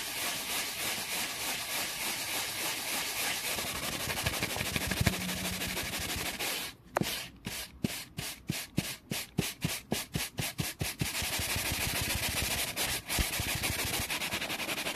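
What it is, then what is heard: Wooden board. A layered scouring sponge held in the fingers is rubbed fast along the grain of a flat, solid, dark-grained wooden board, giving a steady, bright, hissing scrub. Partway through, the rubbing breaks into a quick run of separate, short strokes, then returns to continuous fast scrubbing to the end.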